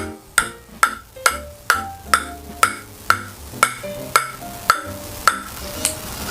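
A table tennis ball is bounced 12 times on an Innerforce Super ALC blade, a wood-and-carbon blade with five wood plies and two inner carbon layers. Each contact is a short, hollow click with a brief ring around 1.3 kHz over faint background music. The blade sounds a bit duller than outer-ALC carbon blades because its carbon sits inward, under the outer wood layers.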